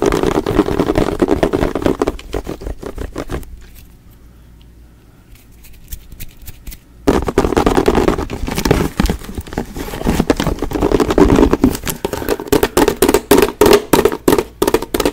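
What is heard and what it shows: Fingertips and nails rapidly tap and scratch a large clear plastic Fabuloso cleaner bottle with a pink spray trigger, held in one hand close to the microphone; the hollow bottle is partly filled with yellow liquid. Quick hollow plastic taps with a mid-low resonance mix with dry scratching, fade to a faint rustle for a few seconds, then return as loud, crisp bursts of tapping until the end.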